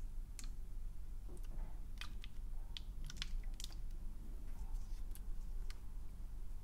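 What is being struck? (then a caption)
Plastic spray bottle. Fingernails tap on the round body of a medium-size, round, pink translucent plastic spray bottle with a trigger head, held in one hand and hollow, apparently empty. Short, dry, clicky taps with bright high ticks come in a loose, irregular pattern over a steady low hum.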